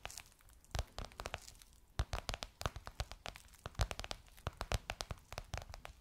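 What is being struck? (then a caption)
Faux leather cushion cover. Long nails tap and scratch across a gold crocodile-embossed faux leather pillowcase covering a soft cushion. Quick, dry taps with a low thump alternate with crinkly, scratchy rustles. Each sound dies away almost instantly at a quiet level.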